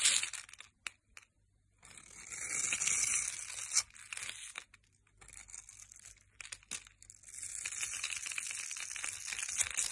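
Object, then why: Bar of soap cut with a metal blade. A metal blade scrapes and cuts a solid rectangular grey bar soap with white stripes, held in the hand, into small cubes. The sound is a bright, crisp scraping and crunching in uneven bursts separated by brief near-silent pauses, and the last few seconds become a steadier run of fine crumbly scraping.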